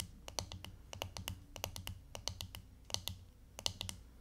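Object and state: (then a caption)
Fingernails tapping a plastic hairbrush back. Long fingernails tap and scratch the hollow, striped, glittery plastic back of a hairbrush held up in both hands. A quick, uneven run of sharp, bright clicks follows, each dying almost instantly, with faint scratching in between.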